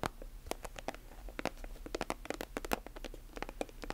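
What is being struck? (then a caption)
Plastic lotion tube. Long nails scratch and tap along the surface of a silver, metallic plastic lotion tube held horizontally and vertically. A quiet, rapid patter of short, dry clicks and scratchy crinkles comes with bright edges and almost no ring. A faint, steady low hum runs underneath.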